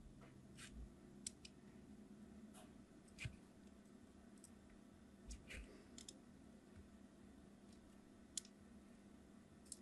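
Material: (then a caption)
Soap. A craft knife blade scores a crosshatch pattern into a solid red translucent hard soap bar held in the palm, using repeated short scratching cuts. About ten brief, crisp scratches and clicks stand out over a quiet, steady low hum, each with a bright edge and no ring afterward.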